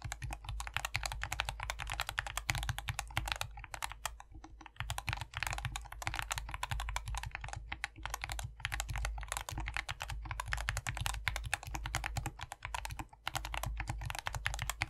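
Two hands type continuously with their fingertips on a lubed, optical SK61 compact 60% mechanical keyboard after the mod, with a white plastic case filled with foam and green, white and pink PBT Mojito keycaps. The result is a steady, rapid stream of short, crisp clacks with a soft low thock beneath them and brief pauses between bursts.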